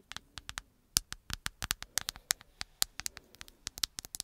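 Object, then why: Smartphone, glass and plastic. Long acrylic nails tap and scratch the hard, flat glass-and-plastic surface of a black handheld smartphone held behind the microphone. About 25 quick, sharp, bright clicks sound in an uneven rhythm, each dying out almost instantly, with faint scratchy rustling between them at a quiet level.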